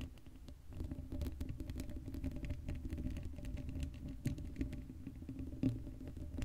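Long acrylic nails scratch the black steel mesh grille of a hollow Blue Yeti microphone, making a dense, rapid patter of scrapes and ticks. The sound is heavy and boomy in the low end, with a faint steady hum underneath. A few sharper, louder taps stand out near the end.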